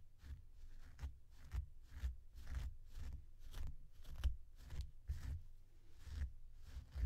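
A blue plastic comb strokes repeatedly through the long synthetic fur of a small, soft purple faux fur plush toy with googly eyes, while the other hand steadies the toy. Each stroke makes a soft scratchy swish with a bright hiss, over a steady low rumble. The strokes come in an even rhythm throughout.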